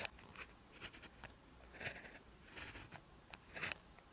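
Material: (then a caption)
Paper. An orange ballpoint pen tip, held by the fingers, scratches across a lined paper sheet while writing Korean handwriting in one continuous writing action. Short, bright scratching strokes come in irregular bursts with quiet pauses between them, each dying away almost instantly.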